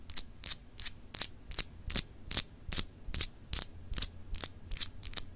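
Long acrylic nails scratch across a palm-sized solid clear glass globe paperweight with textured etched continents. The result is a steady series of short, bright, gritty scrapes, about two or three per second, each stopping dead with no ring. A faint low hum runs underneath.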